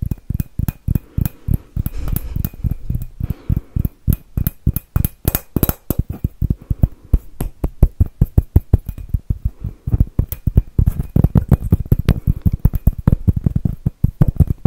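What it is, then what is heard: Glass Christmas bauble. A palm-sized hollow glass Christmas bauble, dark blue and glossy with a silver glitter swirl pattern, is held in both hands and tapped with fingernails. Dozens of quick, dull, low taps come in steady bursts, each dying away almost at once with little brightness or ring.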